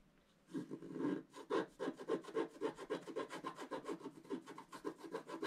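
A wooden stylus scratches fine lines into the coating of a black wax-coated scratch-art paper page held flat. After a brief quiet start, about 16 short, dry scratching strokes follow in a quick, uneven rhythm of roughly two per second. The strokes have a raspy midrange texture with little low end.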